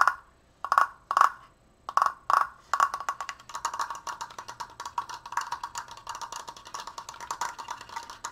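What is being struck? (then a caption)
Wooden slatted frame. A large stained wooden Triforce frame made of triangular slats is tapped with long nails and fingertips along its top edges and crossbar. Several separate, dry knocks centered near 1.1 kHz come first. They give way to fast, dense tapping with a short, woody ring and bright clicky edges.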